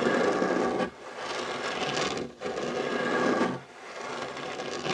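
Short nails and fingertips scratch the solid surface of a dark wooden tabletop beside a fabric heart coaster. The result is a dry, raspy, broadband scratching with a brighter edge, coming in sustained strokes that alternate between louder and softer passes.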